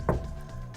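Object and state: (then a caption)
Truck cab sheet metal floor, damped by sound-deadening tiles. A knock on the steel sheet-metal cab floor pan of a Chevy/GMC C10 truck, after sound-deadening insulation tiles were rolled onto it, gives a short, low, muffled thud. It dies away quickly, with none of the drum-like ring of bare metal, showing that the tiles damp the floor as intended.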